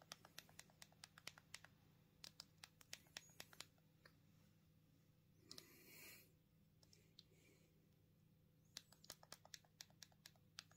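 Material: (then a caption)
Plastic. A small black plastic Punkt mobile phone is held in the hands while a thumb presses its keypad buttons repeatedly to type. Quick, bright plastic clicks come in bursts, with a brief softer rustle near the middle, over a faint low hum.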